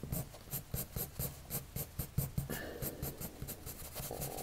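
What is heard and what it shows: A blue colored pencil makes rapid, short scratching strokes on a white sheet of drawing paper resting on a table. Each stroke gives a soft, dry scratch with a bright, hissy edge, repeating in a quick, steady rhythm. A slightly smoother, more continuous shading sound runs through the second half.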